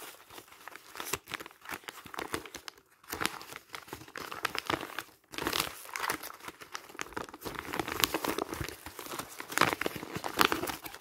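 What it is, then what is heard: Crumpled paper pages. A bundle of thin, light printed paper pages, already crumpled and loose, is squeezed and crumpled by bare fingers and hands over a pile of magazines. Dense, bright crinkling and crackling comes in bursts, with little low end and brief pauses near 3 and 5 seconds. The crinkling grows busier toward the end.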